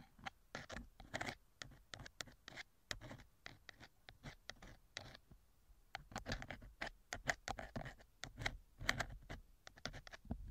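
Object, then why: Thin metal wire ear pick on a silicone ear microphone cover. A thin metal wire ear pick scrapes inside the left silicone ear cover of a TASCAM microphone, making a quick run of short, dry scratching strokes. The strokes are soft, crackly and bright, with a brief lull near the middle before denser scraping resumes. Each stroke stops almost instantly with no ring.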